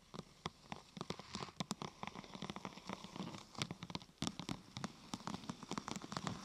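Long nails tap on the top and then the side of a thin, glossy purple plastic sheet curved into a hollow half-tube. The result is a quiet, uneven patter of quick, crisp clicks with a hollow low body and a bright edge, each tap dying away almost instantly, like rain on a surface.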